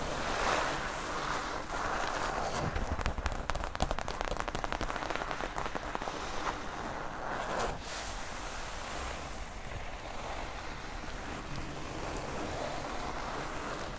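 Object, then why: Non-woven polypropylene fabric bag. Long nails scratch and rub the surface of a flat mint-green non-woven polypropylene tote bag around its "Normal" printed logo. The result is a soft, rough scratching rustle that turns into denser, faster strokes for a few seconds before settling into a steady, quieter friction.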